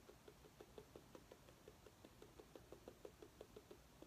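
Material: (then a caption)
Pumpkin rind. Long nails tap a small orange mini pumpkin with a curved stem in a steady run of quick, soft taps, about three per second. Each tap gives a short, hollow knock centered near 420 Hz that dies away almost at once, with faint bright clicks from the nails over a quiet low background.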